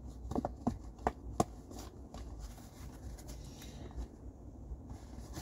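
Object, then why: Cardboard tissue box. Fingers tap and scratch the sides of an empty, hollow blue cardboard tissue box while it is rotated in the hands. Five short, hollow knocks come in the first second and a half, followed by quiet, soft scratching and rubbing that fills the rest of the clip at a low level.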